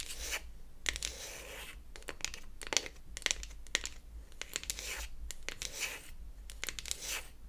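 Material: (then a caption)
Wood. Long acrylic nails scratch and tap the flat beech-wood back of a closed wooden toy eyeshadow palette held in the hands. Bright, dry scratching bursts alternate with short, sharp clicks that stop instantly with no ring, over a faint low hum.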